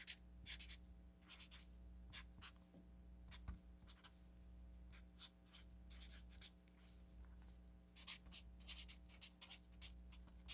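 A felt-tip marker writes on a solid stack of yellow paper sticky notes, making short, bright scratching strokes in quick irregular bursts. A steady low hum runs underneath throughout.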